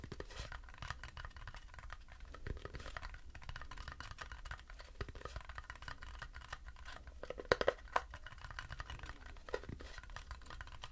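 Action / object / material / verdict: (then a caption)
scrape / turned wooden bowl / wood / none. Fingernails rapidly tap and scratch the base of a light, turned wooden bowl, empty and hollow, held in both hands. The result is a quiet, dense stream of dry scratchy clicks with a hollow woody tone around 500 Hz. A few sharper, louder taps stand out near the end.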